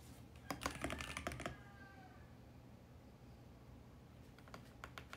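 Both hands tap with fingertips on a VGN X68 compact mechanical keyboard with purple, pink and mint plastic keycaps on a hollow mint plastic case with switches under the keys. A quick burst of fast, sharp plastic clacks comes first, then a faint tonal ring fades over a low, steady hum. A few more key presses come near the end.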